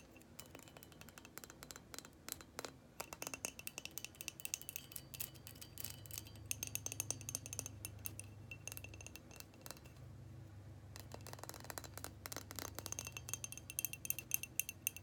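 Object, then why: Frosted glass light bulb. A hand-sized, hollow, frosted white glass incandescent light bulb held in the hands is tapped and scratched with long painted fingernails. The result is a quiet, dense stream of rapid, bright clicking taps and scratchy rustles with short high glassy glints and almost no ring after each tap.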